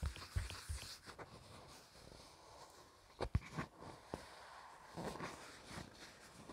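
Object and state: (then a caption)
Thin plastic dish tapped and scratched. A small, thin, hollow green plastic flower-shaped dish with scalloped edges is held in the hands while fingertips and nails scratch and tap its rim and bottom. Soft, low scratching and rustling is broken by several short, dry taps that stop almost at once, with a cluster of sharper taps near the middle.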